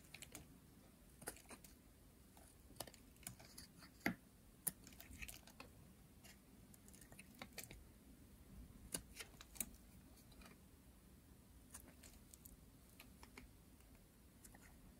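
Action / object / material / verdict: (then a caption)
scrape / bar of soap scraped with a metal blade / soap / none. A hand-sized, light blue, solid dry soap bar, held in hands with long nails, is shaved and scraped with a metal blade. Quiet, irregular dry scratches and crisp, bright ticks sound over a soft, steady low background, with a few sharper snaps that stop almost instantly.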